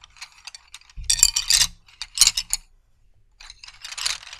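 Solid wooden colored pencils are gathered in both hands while the fingertips rub and click them together. The result is a dry, bright rattle of quick clicks and scraping, coming in uneven clustered bursts with short quiet gaps and almost no low end. It ends with a softer rustling flurry.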